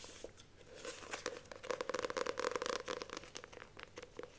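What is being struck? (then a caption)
Paperback book with glossy card cover. Long lilac nails rapidly tap and scratch the glossy card cover of a solid paperback copy of *The Magicians of Caprona*. Quiet scratching builds into a fast, irregular run of crisp clicks and papery scrapes, with a faint midrange tone and bright edges. Each tap is short and dry, with almost no ring.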